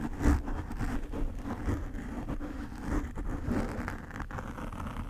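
Nail tips scratch across the black foam cover of a desk microphone, making a steady, dull, bassy rustling and scraping with soft bursts of louder scratching throughout. The sound stays low and muffled, with almost no bright highs.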